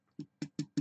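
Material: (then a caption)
Tin, foam. Four short, dull taps on a thin embossed tin panel backed with urethane foam, tapping to find thin or unfilled spots. Each tap is a low, muted knock that dies away almost at once, with no metallic ring. This spot sounds solid and doesn't give when pressed.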